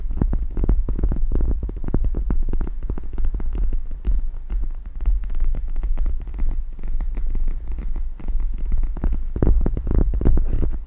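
Long red nails tap and scratch the gel-filled plastic surface of a pink cat-shaped eye mask with plastic gel-bead inserts and a fabric strap, draped over the microphone. Rapid, dense tapping and scratching comes through as a continuous low, muffled throbbing with a steady hum underneath. The taps blur together into a rumbling texture that swells louder near the end.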